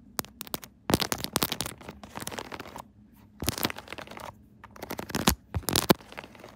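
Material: Silicone.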